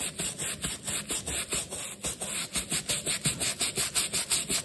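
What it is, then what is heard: Rubber shoe sole being scrubbed. A wooden-handled bristle brush scrubs the black rubber sole of a leather sneaker, held upside down in one hand and wet with cleaning foam, in back-and-forth strokes. Each stroke makes a bright, hissy, slightly wet rasp, repeating at a fairly steady pace of almost three strokes per second with little low end.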